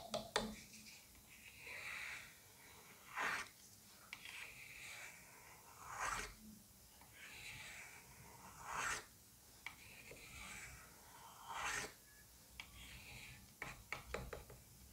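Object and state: Butternut squash skin scraped with a blade.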